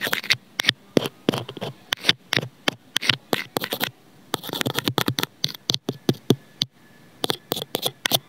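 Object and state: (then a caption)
Plastic earphone inline microphone being scratched. Scissor blades scrape and scratch across a small, white, hollow plastic inline microphone/remote on an earphone cable, which lies on a cardboard surface. Because the microphone itself is being scratched, it produces a rapid series of short, dry, bright scratchy bursts with little low end and no ring. The bursts are broken by brief silent pauses around 4 and 6.7 seconds.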